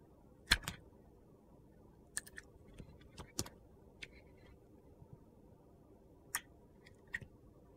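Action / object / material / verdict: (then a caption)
scrape / bar of soap cut with a metal blade / soap / none. A metal utility knife blade slices thin, crunchy pieces off the dark glitter edge of a solid orange soap bar held in a hand. Sharp, bright cuts and crackles stand out over a quiet background hiss. Each one stops almost instantly, with louder snaps near the start and again toward the end.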